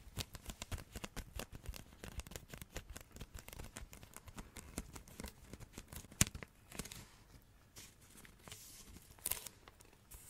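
Long red nails tap and scratch a hollow roll of glossy Christmas wrapping paper held in both hands, producing about 17 quick, dry, separate taps over the first six seconds. One sharp, louder tap follows, then softer, bright papery scratching and brushing. A final crisp tap near the end closes out the close, quiet sequence.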